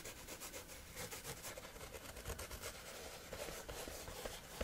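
Several fingertips rub and scratch across a flat sheet of coarse, rough woven fabric. The result is a continuous, irregular, bright scratchy texture with soft, low-level pulses of friction.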